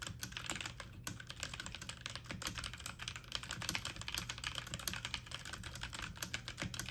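Fast typing on a full-size backlit mechanical computer keyboard with plastic keycaps, the keys pressed quickly with fingertips and medium nails. A steady stream of bright, crisp plastic clicks and taps runs throughout, each one short and dry, over a faint low hum.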